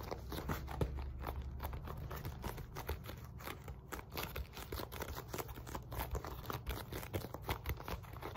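Long nails rapidly tap and scratch the sides and face of a black padded synthetic leather focus mitt. The result is a dense, steady run of short, dry taps and crinkly scratches with a soft, low padded thud beneath them and almost no ring.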